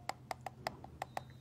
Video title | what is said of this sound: How to check your eggs for cracks | tell by that hollow sound that I've got a crack so this is a cracked egg it's not good